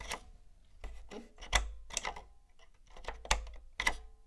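A long fingernail and fingertip tap and press the round power and reset buttons and the casing of a grey, hollow, hard-plastic PlayStation 1 console lying on a fluffy rug. Six sharp, bright plastic clicks and taps stand out at irregular intervals, with softer rubbing and a low hum between them. Each tap dies away quickly.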